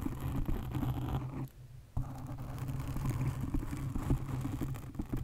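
Long nails scratch and tap a black foam windscreen on a condenser microphone, making a dense, low, rumbling scrape with soft thuds. The sound breaks off into near silence for about half a second, then resumes with a thump and continues steadily to the end.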